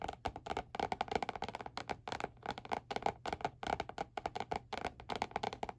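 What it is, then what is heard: Spiral notebook with laminated cardboard cover. Fingertips of both hands tap on the glossy peach-print laminated cardboard cover of a small spiral-bound notebook lying flat on a white board. A rapid, uneven flurry of dry, hollow taps with a papery, woody tone centered around 445 Hz. Each tap dies almost instantly.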